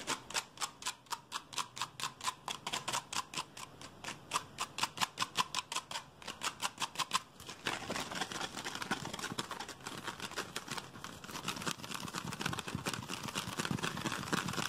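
Fingertips and nails quickly tap and scratch an empty, hollow clear PET Pepsi bottle with a blue plastic cap held in the hand. For about the first seven seconds, rapid, evenly spaced bright plastic taps ring out, with a hollow tone around 1 kHz. Then it shifts to a dense, continuous scratchy rustle with high hiss.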